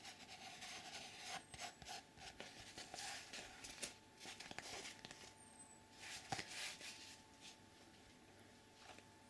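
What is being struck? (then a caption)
Thick cardboard sheet with a drawing. Fingertips scratch and rub across a flat grey sheet of cardboard or thick paper bearing a colourful drawn mandala. The result is a quiet run of dry, bright scratching bursts at an uneven, fairly quick pace, with very little low end and a faint steady tone near 785 Hz underneath.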